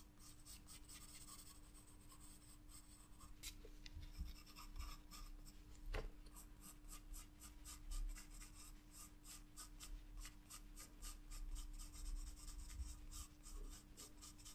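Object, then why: Graphite pencil on a paper sketchbook page. A graphite pencil draws on a flat paper sketchbook page, its repeated strokes scratching the paper in a steady run of soft, bright rasps. A few louder strokes stand out over a constant faint low hum and rumble.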